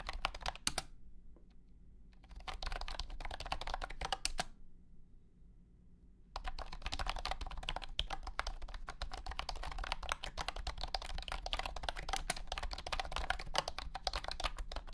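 Fingertips type on a compact white and blue plastic wireless keyboard with round hexagonal honeycomb keycaps and a hollow body. Short, dry, bright plastic clacks come in quick, uneven bursts, with brief pauses near the start and again around four to six seconds. Typing then runs continuously to the end over a low steady hum.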